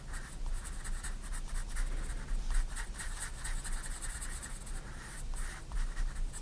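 A 4B pencil draws small circular strokes on a white paper sketchbook page lying flat, scratching the paper. Soft, continuous scratchy rasps pulse with each stroke, carrying bright hiss over a steady low rumble.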